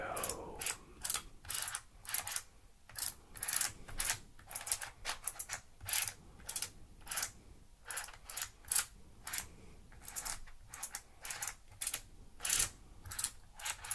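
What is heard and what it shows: Fingertips push and slide the solid yellow, red and blue plastic tiles of a handheld Giiker Super Slide electronic puzzle, which has a small LED screen, buttons and a hard plastic frame. The tiles click against each other and the frame in a quick, uneven run of short, bright plastic clicks with almost no ring. Faint sliding noise fills the gaps between clicks.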